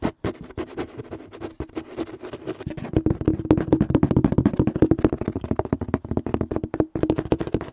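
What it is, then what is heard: Cardboard box, hollow. Fingertips and nails tap and scratch the flat side of a large, hollow, printed corrugated cardboard box resting on a metal shelf. The result is a fast, uneven run of short, dull knocks mixed with scratchy scraping, with a hollow low-mid resonance and almost no bright content. The tapping grows denser and louder through the middle before thinning out briefly near the end.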